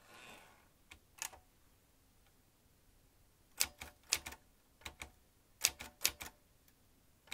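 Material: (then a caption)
Metal. Fingertips tap the keys of a vintage metal manual typewriter as its carriage moves across. About a dozen sharp, bright clacks come in scattered bursts with quiet gaps between them, after a soft hiss at the start. Each strike stops almost instantly, with no ring.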